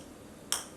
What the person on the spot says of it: this sounds like plastic. It's not glass.